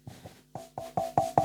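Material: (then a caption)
Metal. The metal body of a lightweight Zetapro Ultra 1 wireless microphone is tapped in a quick series of taps that grow louder. Each tap gives a short, bright metallic knock with a pitched ring near 780 Hz that dies away fast. The solid metal body is judged to be very good.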